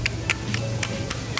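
A worn, loose front strut top bearing from a Mercedes W204, removed from the car, is knocked six times, giving short bright clicks around 2.3 kHz over a steady low hum. The bearing is done, with plastic-on-plastic play, and replacing it cured the car's suspension knocking noise.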